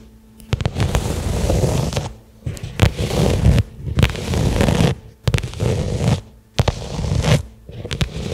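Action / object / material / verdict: scrape / small leather case / leather / none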